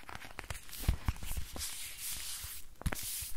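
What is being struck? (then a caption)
Thin flexible plastic book. Long nails tap and scratch across the surface of a thin, flexible, silver-grey plastic book. Sharp, dull taps punctuate a crinkly, tearing-like scratching hiss with bright rustle and quick, dry decays.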